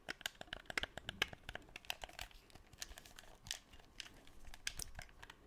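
Fingertips click the buttons and tap and rub the shell of a black, hollow plastic PS4 DualShock 4 controller, its d-pad in view, close to the microphone. A rapid, uneven run of short, dry, bright clicks and taps comes over a soft rubbing crinkle, each click dying away almost at once.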